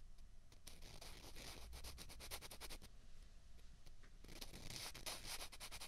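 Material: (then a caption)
Plastic. Two small, hollow, white plastic ping pong balls are scraped and rubbed against each other in the hands. The result is a quiet, dense run of fast, scratchy, clicking friction with bright, hissy bursts and a low rumble underneath. It pauses slightly just before the last third and then picks up again.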